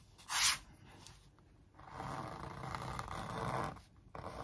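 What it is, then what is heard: Stretched canvas print (scraped). A thin wooden stick traces the outlines of sneakers printed on a large stretched canvas on a hollow-backed wooden frame. A short, bright scratchy stroke comes first, then a quiet pause, then a longer, steady dry scraping rub that fades before a final brief stroke.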